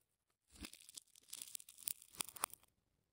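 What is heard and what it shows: A thin metal blade or pick scratches and slices along the layers of a hand-sized solid ball of wound colored plastic tape, already cut into layered slices and held in one hand. About two seconds of bright, crackly tearing and crinkling follow, broken by a few sharper snaps near the end before it falls silent.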